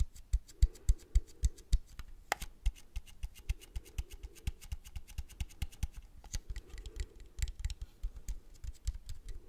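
A small Agfa Isoly plastic and metal film camera is held in both hands while fingertips and nails tap and scratch its leatherette and metal body. Quick, irregular taps land as short, dull low thumps with brief bright clicks, with bursts of soft scratching rasp between them.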